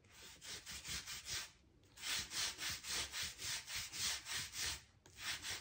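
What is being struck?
Oak plank floor scraped with a thin tool.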